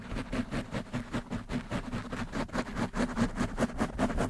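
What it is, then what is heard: Foam microphone windscreen being scratched. Nails and fingertips scratch rapidly on a black foam windscreen fitted on a desktop microphone. Quick, fairly regular strokes of muffled, rustling friction come about two per second. Each stroke carries a low hum-like body near 240 Hz and a dry, close scratch with little ring.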